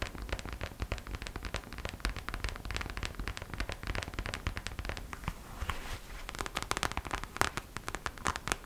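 Long acrylic nails rapidly tap and scratch the glossy surface of a hollow, hand-sized gold glitter vinyl gingerbread-shaped purse held close. The result is a dense, steady stream of quick, dry clicks and scratchy, crackling strokes with a bright edge and no ring, growing a little sharper and louder toward the end.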